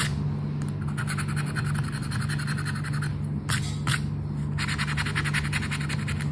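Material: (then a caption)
Paper. The edge of a red and gold token scrapes the coating off a flat paper "10 para ganhar" scratch card. Quick, rhythmic strokes make a bright, gritty rasp in bursts, with short pauses around the middle before the scratching resumes. A steady low hum runs underneath throughout.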